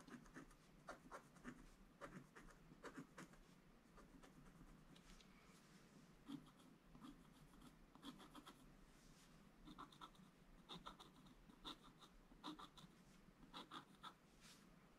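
A pointed wooden stick held in the fingers scratches away the black coating from a flat scratch-art sheet in a book, with gold foil paper underneath on solid thin card. The clip is a quiet, steady run of short, dry scratching strokes with bright, hissy edges over a soft low rumble.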